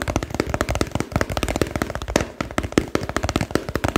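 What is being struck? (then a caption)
Plastic soap container. Fingertips and nails rapidly tap a small, hollow, pale pink plastic soap container held in the hands. The result is a dense run of short, dry clicks with a hollow body around 300 Hz and almost no ring.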